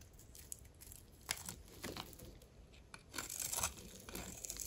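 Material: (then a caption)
Soap. A metal blade cuts grid lines into a dry, solid, rectangular lime green soap bar held in the hand and scrapes off cubes. The sound is a series of dry, crisp, bright scraping and crunching strokes over quiet pauses, with the loudest bursts near the middle and end.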